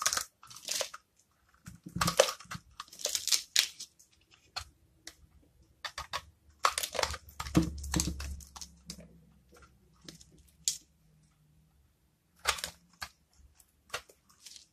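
A hand-sized, dry, solid green soap bar with small colored soap pieces embedded in it, held in the palm, is cut and scraped with a metal blade. Crisp, bright cracking and crunching bursts come in irregular clusters, with short quiet gaps between them and a faint low rumble under the middle stretch. The blade produces crisp cracking shavings.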